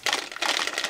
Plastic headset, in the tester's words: si je le secoue, vous entendez ça brinque-balle un peu, c'est pas forcément du meilleur effet